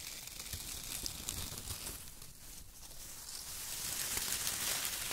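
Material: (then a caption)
Paper. Fingertips scratch and press a pile of thin brown shredded kraft paper strips, and hands crumple bunches of it. The result is a dense, continuous, bright crinkling and rustling with rapid crackles, dipping slightly mid-clip and growing louder toward the end.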